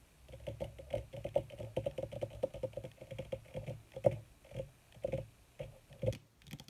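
Long red nails on both hands rapidly tap and scratch a wrinkled black leather sheet, possibly faux leather. A quick, uneven series of dry, muffled taps with soft low thumps comes through, each dying away at once, with faint scratchy rustle between them.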